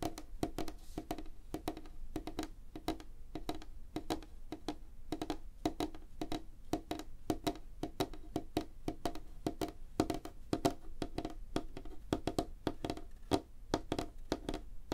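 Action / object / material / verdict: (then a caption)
tap / wooden tabletop / wood / none. Fingertips and nails of both hands tap quickly on a solid, light wooden tabletop. The result is a dense, uneven stream of short, dry knocks with a hollow woody tone around 300 Hz, a soft low thump beneath, and almost no ring between taps.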